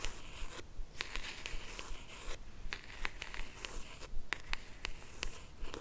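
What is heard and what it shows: A small, hollow, cream rigid cardboard jewelry box is held in both hands while long acrylic nails tap and scratch along its edges and lid. About fifteen short, crisp clicks ring out at an uneven, fairly quick pace, with soft papery scratching between them over a low, steady background hum. Each tap is bright and dies away almost instantly.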